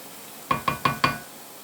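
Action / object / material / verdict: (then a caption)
tap / cast iron frying pan / cast iron / none. Four taps on a cast iron frying pan during cooking, each a short metallic knock with a bright ring centered near 1.1 kHz that fades within about a tenth of a second. Tapping causes the cast iron no harm.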